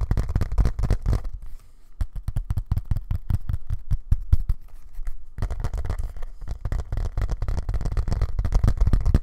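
Fingertips tap rapidly on the leather back of a thin, flat, black Bluetooth keyboard held in both hands. The taps are soft, dull, low thuds with almost no ring, continuing in a steady, dense patter through the clip with a brief quieter dip near the two-second mark.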